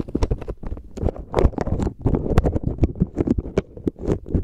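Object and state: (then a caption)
Bag of plastic pearl beads. A clear plastic bag full of white plastic pearl beads is squeezed and rubbed between the fingers and thumbs. The beads shift and clack inside the crinkling bag in a dense run of quick, dry clicks with a soft, low-heavy rustle underneath.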